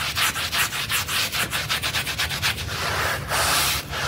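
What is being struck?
Wet synthetic pile rug scrubbed with a stiff brush.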